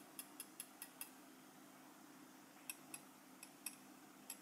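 A small, solid gold-coloured metal lapel pin with a black enamel face is held in the fingers and tapped with the tip of a steel cheese knife. Ten quiet, bright ticks are heard: five quick taps in the first second, a pause, then five more spread out. Each tap dies away almost at once over a faint, steady low hum.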